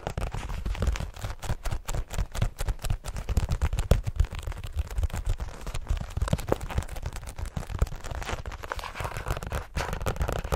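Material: Card and paper.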